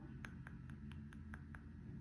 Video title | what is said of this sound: Watch Me Work: Acrylic Application | You can't really hear it yet, it's still not dry.